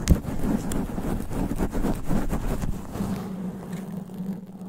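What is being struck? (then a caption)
Foam microphone windscreen. Long black nails scratch a sponge foam microphone cover in fast, aggressive strokes. The result is a dense, low, rumbling crackle with muffled, rushing scrapes that fade slightly toward the end.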